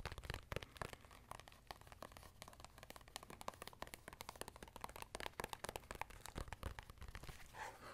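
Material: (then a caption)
Faux leather. Fingertips and nails scratch and tap a small black notebook with a faux-leather hard cover, held upright, working over the cover and its textured back. The result is a close, quiet stream of dry crinkly scratching and quick soft taps with crisp bright edges and no ring.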